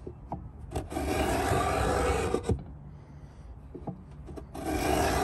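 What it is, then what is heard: Pine box scraped with a beading scraper. A metal Stanley 66 beading scraper, gripped in both hands, is scraped back and forth along the top edge of a large hollow pine box, cutting a bead into the wood. Broad, dry rasping strokes rise and fall, separated by a quieter stretch with small clicks and taps before the next pass starts.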